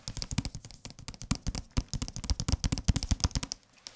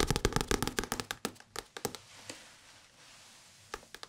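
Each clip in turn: First: hardcover book with paper dust jacket. Second: paperback book.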